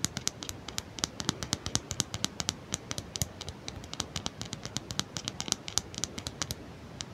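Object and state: Plastic comb teeth flicked.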